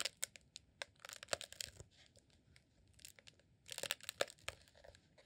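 A green honeycomb rolled beeswax sheet candle, held in both hands, is squeezed and scratched with fingertips. It gives bursts of dry, crisp crinkling and tearing-like scratches with quick sharp ticks, bright and brittle with almost no low end. A quieter stretch sits in the middle before the crackling picks up again.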